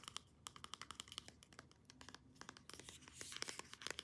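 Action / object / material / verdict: tap / plastic pump bottle / plastic / none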